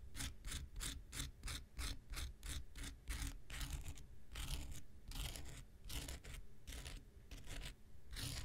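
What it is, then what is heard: Foam nail buffer block scraped with a knife blade. An X-Acto knife blade is scraped across the surface and end of a small, solid, rectangular pink foam nail buffer block. The result is a quick series of rough, bright scratching strokes over a low, steady rumble, with the strokes coming in uneven bursts and a brief lull near the middle.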